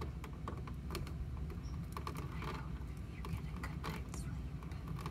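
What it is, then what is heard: Plastic toy playset case. Long nails tap on the top of a large, pink, hollow plastic My Little Pony playset case with a heart logo, standing upright with both hands resting on it. Light, quick clicking taps sound over a steady low background hum.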